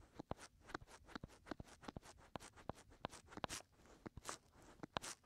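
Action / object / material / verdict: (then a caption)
scrape / silicone ear of a binaural microphone / silicone / none. Short fingernails scratch at the outer rim and into the openings of the soft white silicone ears on a 3Dio binaural microphone. The result is a quiet, close-up run of sharp scratches and crackly clicks, each one dry and quickly cut off, with bright, crisp edges over a soft rustle.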